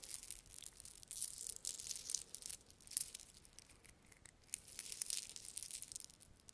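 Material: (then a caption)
Metal. A thin gold-tone metal link chain necklace is held near the mic while fingers with long red nails handle and rub the links. The result is soft, bright jingling and crinkly rustling, almost all high-pitched, with clustered tiny clinks and no low end.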